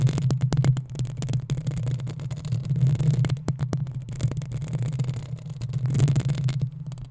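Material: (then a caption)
Metal. Long acrylic nails of both hands scratch the hollow metal mesh grille of a black desktop USB condenser microphone. The result is a dense, continuous low throbbing rumble centered near 117 Hz, broken by many quick, brittle scratches that flash up to a bright hiss. The rumble swells and fades in waves.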